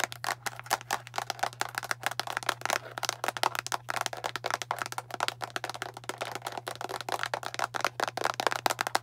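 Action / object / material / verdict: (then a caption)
tap / plastic bottle of tablets / plastic / none. Long nails tap rapidly on the label and blue cap of a translucent plastic Tums antacid bottle full of tablets. The result is a fast, continuous stream of short, dry, bright clicks and ticks with a faint tablet rattle. A steady low hum runs underneath.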